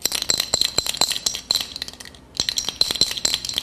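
A prepared metal paint can with a steel bolt hidden inside is shaken, producing rapid, bright metallic clinks and rattles with a brief pause midway. The rattle sounds like an ordinary can of paint despite the concealed bolt.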